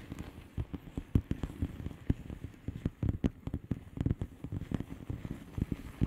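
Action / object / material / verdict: tap / plastic bubble wrap envelope / plastic / none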